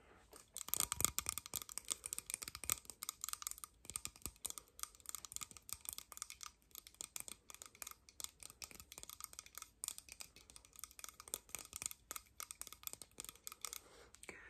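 A small, hollow, red plastic disposable lighter with a metal top is held close and tapped and scratched with long nails and fingertips. The result is a quiet, dense stream of rapid, bright clicks and scratchy taps with almost no low end. Each tap stops dead with no ring.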